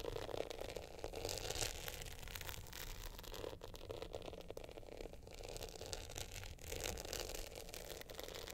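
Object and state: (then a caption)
Glitter hard-shell clutch with metal frame. Long nails scratch and tap the glitter face and the gold metal top frame of an upright glitter hard-shell clutch. The result is a steady, dense rasping scrape with gritty crackle and bright hiss, a faint tone near 500 Hz, and a low rumble underneath throughout.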